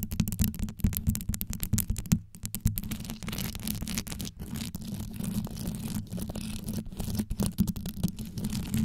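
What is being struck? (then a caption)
Microphone grille covered in rhinestones. Long yellow nails on both hands scratch fast around the rhinestone-covered grille of a black condenser microphone. The result is a dense, continuous rumbling scratch, heavy in the low end, dotted with quick brittle clicks from the rhinestones.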